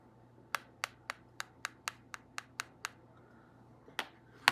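A dried rose made from craft dough is tapped on a surface to show it has hardened. Twelve short, sharp, quiet clicks are heard: ten in a steady run, then two more after a pause, each dying away almost instantly over a faint steady hum. The dough rose has hardened.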